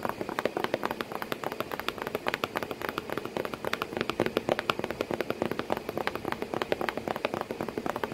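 Long painted nails tap rapidly on the flat flap of a hollow corrugated cardboard box with a cat sitting inside. A steady stream of quick, dry, papery clicks with a hollow knock keeps coming, each tap dying away almost at once, and there is little low rumble.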